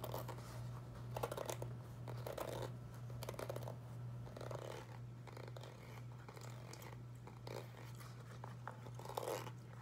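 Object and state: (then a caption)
Foam rubber clog shoe. A single dark grey foam clog, a Crocs-style molded foam shoe with ventilation holes and a hollow shape, is held in the hands and scratched and tapped with long white acrylic nails. Quiet, dull scratching and soft crunchy taps come in loose, uneven bursts over a steady low hum.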